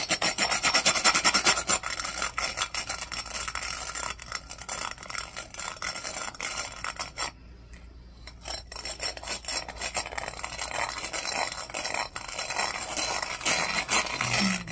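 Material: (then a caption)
Glass. The bristles of a black plastic hairbrush are brushed and rubbed back and forth across the textured outer surface of a clear, empty, hollow glass cup with an embossed pattern, held in hand. This makes a dense, bright, scratchy rasping in quick, uneven strokes, which pauses briefly near the middle before starting again.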